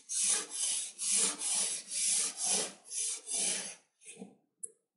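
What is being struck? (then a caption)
Kinetic sand block cut with a metal knife. A metal knife with a pink handle slices in parallel cuts through a rectangular, solid block of red kinetic sand coated with a layer of orange glitter, resting on a white surface. Repeated crunchy, bright scraping strokes follow one another closely, then two softer, shorter scrapes end the clip.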